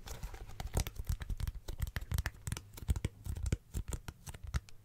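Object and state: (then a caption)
Plastic glasses case. Fingertips tap a teal plastic glasses case held up in one hand, making a quick, uneven run of soft, dull taps with faint crackly, tearing-like clicks. Each tap is mostly low thump with a brief bright tick on top, dying away almost at once in a close, dry space.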